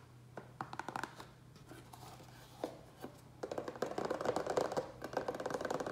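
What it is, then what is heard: Plastic tray tapped. Fingertips and nails fast-tap the base and sides of a small, rectangular, hollow black plastic tray that sits upside down and empty on a wooden table. Scattered light taps in the first seconds give way to a dense, rapid run of hollow, clicky plastic taps from about the 3.5-second mark. Each tap is short and dry with almost no ring and a midrange tone around 500 Hz.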